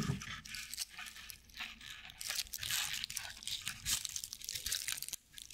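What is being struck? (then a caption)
Straw owl figurine. A small straw decorative owl figurine, with dry straw or sisal-like fibers on its underside, is held close to the mic and scratched with long nails and fingertips. Bright, crunchy scratching and crackling come in dense bursts with short quiet gaps between them, carrying a faint low hum underneath.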